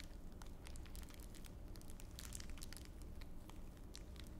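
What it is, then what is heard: Clear plastic wrapper being crinkled. A small wad of clear plastic wrapper is rubbed and crushed between both palms held beside the ear. Dense, quiet crinkling and sharp bright crackles flicker over a steady low rumble for the whole clip, with no pauses.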